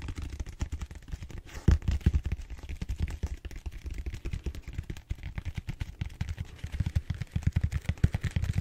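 Fingertips tap and scratch the surface of a large, purple, solid styrofoam foam roller held upright. The result is a rapid, uneven stream of soft, dull thumps with quick decay, almost all low in pitch, with faint scratchy texture between the taps.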